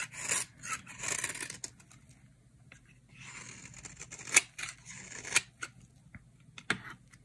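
A utility knife blade shaves curls off a solid, dry cream soap bar held in the hand. Bright, dry scraping strokes come in uneven bursts, with a few sharp, crisp snaps as the blade cuts through.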